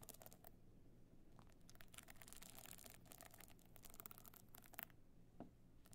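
A stone-chip covered box clutch with a gold metal frame stands on edge while long nails scratch its glued stone-chip side. The result is quiet, dense, gritty scratching with bright broadband crackle over a low rumble. A few sharper clicks stand out near the end.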